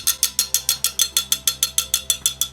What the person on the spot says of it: water make that funny chink chink chink sound under vacuum